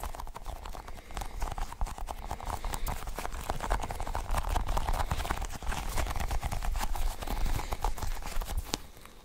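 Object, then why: Sticky rubber ball cluster toy. Fingertips squeeze and peel a cluster of colored sticky rubbery balls on a toy, making a rapid, irregular stream of short, tacky pops and clicks. The pops are dull and low-weighted with a faint midrange snap, each dying away almost instantly. They hold a fairly steady level before thinning out at the end.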